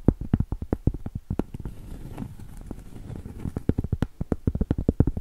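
A round solid cork board is tapped and scratched on its edge and flat surface with long pointed acrylic nails. Quick, dull, low taps with no ring open and close the clip, and a softer stretch of continuous scratching fills the middle.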